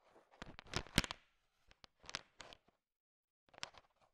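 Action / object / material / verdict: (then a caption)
scrape / pile of sugar-shelled chocolate candies stirred with a wooden stick / candy shell / none. A thin wooden stick stirs a large pile of small, solid, sugar-shell-coated chocolate M&Ms, and the candies click against one another. Quick, bright rattling clicks come in short bursts, loudest near the start. Quiet pauses separate the later, sparser clusters.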